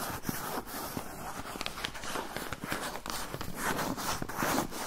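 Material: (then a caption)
Paper. A medium-sized brown kraft paper pouch with labels is held up while fingernails scratch and rub along its surface and edge. The result is a steady, crinkly rasp with short scraping strokes and brighter papery hiss throughout.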